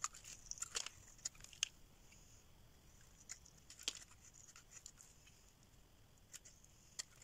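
A hand-sized solid bar of dry soap, orange at the rim and white inside, is held in the hand and carved and scraped with a metal craft knife blade as shavings pile up. Quiet, bright, crisp scraping and sharp dry clicks come in an irregular series over a soft hiss, each cut stopping short with no ring.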